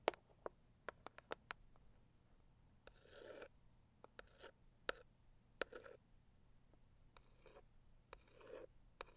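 A medium, hollow pink floral Saviland cardboard gift box is scratched across its lid with one long acrylic nail. Quiet, sharp ticks of the nail alternate with three longer, soft raspy scratch passes, over a faint steady low hum.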